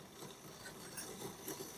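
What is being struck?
Nothing is struck.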